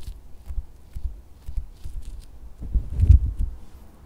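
A pink, solid and soft silicone squishy dog toy, held up close, is tapped and squeezed on fabric with fingertips and red nails. Soft, dull, low thumps repeat with faint bright nail clicks. A fuller, louder squeeze swells near the end before fading to quiet.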